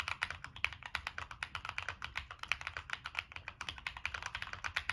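Fingertips type continuously on a Monsgeek M1 mechanical keyboard with a black aluminum case, purple and black plastic keycaps, NK Cream switches and a POM plate. A steady run of short, bright clacks peaks around 2.3 kHz, with each keystroke dying away almost instantly and only a faint low thump underneath.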